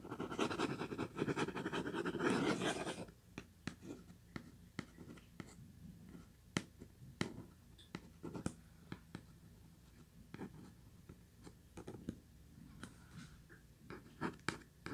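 Long white nails scratch and tap the printed top of a hollow purple Kleenex cardboard tissue box. Dense, loud scratching fills the first three seconds, then gives way to quiet, sparse, sharp taps with short dull knocks that die almost instantly.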